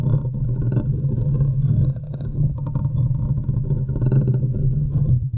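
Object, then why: Metal wire-mesh microphone grille. Long nails and fingertips scratch and tap the top of the hollow domed metal wire-mesh grille on a large silver USB condenser microphone. The result is a dense, continuous low rumble, with faint scratchy, brighter ticks scattered across it.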